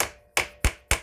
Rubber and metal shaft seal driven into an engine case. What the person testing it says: when you're hitting something in, it'll often change tone